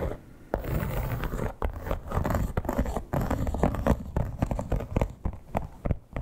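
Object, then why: Croc-embossed leather clutch. Long black-tipped acrylic nails on both hands scratch the embossed scales of a flat, hollow, soft red crocodile-embossed leather clutch. The result is a dense, continuous run of dry, rasping scrapes and quick taps, heavy in the low end and dull rather than bright, with the loudness rising and dipping in short bursts throughout.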